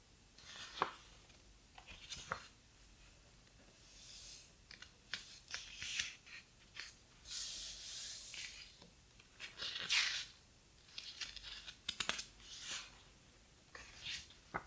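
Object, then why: Hardcover book with heavy paper pages. A thick, large hardcover book with heavy paper pages is handled slowly as hands flip and turn a page and fingertips rub across the paper surface. The result is a quiet, bright mix of crisp page snaps, soft swishes and dry papery rubbing, with very little low end and short, non-ringing sounds.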